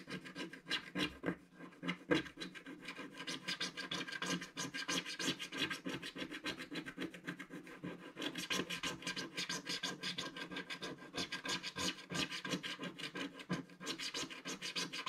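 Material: Coated card.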